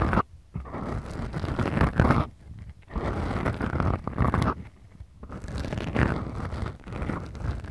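Long, glittery, manicured nails on both hands scratch two small black foam windscreens covering the mic capsules of a Tascam DR-40X recorder. The scratching comes in three slow, continuous passes separated by short near-silent gaps. It sounds dense, rough and muffled, with a deep rumbling low end and almost no bright top.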